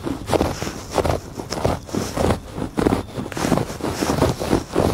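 Fingertips and nails scratch across the ribbed weave of a thick woven fabric rug on a porch. Repeated dry, raspy strokes come in an uneven rhythm, each a short burst of coarse friction with a dull low-mid body and no ring.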